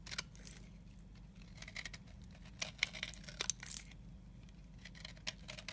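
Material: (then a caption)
Soap. A solid, dry, crumbly pale yellow soap bar is held in the fingers while a utility knife blade scrapes powdery crumbs from its edge. The result is a quiet run of bright, dry scratching and crinkly crunches with sharp, short clicks, all over a steady low hum.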